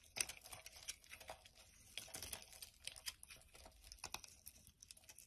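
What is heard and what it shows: A metal knife blade carves long shavings from a solid, hand-sized mint green soap bar held in the hand. The result is quiet, bright, crisp scraping and crinkling that comes in many short, dense strokes, with a sharper cut near the start and almost no low end.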